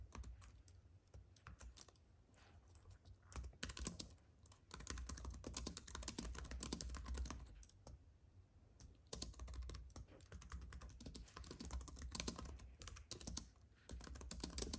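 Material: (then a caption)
Plastic. Both hands type with their fingertips on a slim white computer keyboard with plastic keys on a silver aluminum base, with an unused paintbrush lying nearby. Quick, bright, dry clicks come in uneven bursts with brief pauses over a soft low hum.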